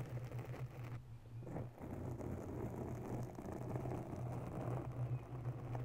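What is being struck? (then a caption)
Foam microphone windscreen. Long bare nails of both hands scratch the top of a round grey foam cover on a mounted microphone. The result is a steady, dense, muffled scratching and crackling, heavy in low rumble with a hum-like tone, with a brief quieter dip about a second in before it continues evenly.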